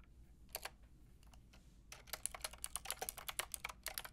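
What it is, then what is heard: Plastic mechanical keyboard being typed on. Long painted nails and fingertips type on a white-pink backlit plastic mechanical keyboard with round plastic keycaps. A few sharp, bright clicky taps come first, then a quick, steady run of crisp key clacks from about two seconds on, with very short decays over a faint low hum.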